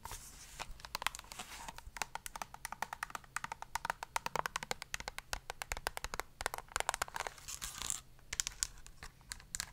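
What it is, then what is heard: Plastic squeeze tube. Very long nails tap and scratch the surface of a soft printed plastic squeeze tube of Himalaya face wash that appears partly full. Rapid, sharp, bright clicks mix with crinkly scratching. The short hits die away almost instantly, over a quiet background.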